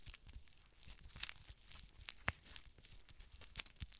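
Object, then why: Gel-filled plastic eye mask. Fingertips and medium-length painted nails press, rub and scratch the surface of a thin, flexible, lilac glittery gel-filled eye mask with a plastic shell, held in both hands. The result is a quiet, bright, crinkly rustle with a few sharper scratchy clicks standing out near the middle.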